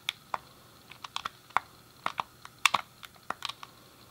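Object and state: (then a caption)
Plastic game controller buttons. Fingertips and a thumb press and click the face buttons and D-pad of a hand-sized, hollow grey plastic SNES game controller. The result is an irregular series of short, dry, bright plastic clicks with almost no ring and no low end, some landing in quick pairs.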